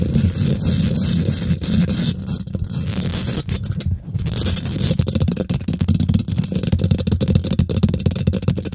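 Long nails and fingertips of both hands quickly scratch and tap the domed, hollow woven metal mesh grille of a large silver condenser microphone. A dense, boomy low rumble of scraping runs throughout, with rapid clicky taps that grow busier and sharper in the second half.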